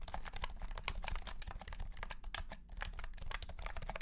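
A white and pink cat-shaped keyboard with round plastic keycaps in a hollow plastic case is typed on quickly with the fingertips of both hands. A rapid, steady run of light, short clicks and clacks rides over a low, boomy hum.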